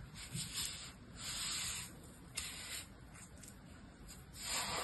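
An orange plastic toy shovel, held in one hand, is dragged and scraped through the surface of fine, dry blue-purple sand in a clear plastic tub. It makes a continuous, bright, hissing scrape and rub that swells and fades in waves, with one brief sharper scratch partway through.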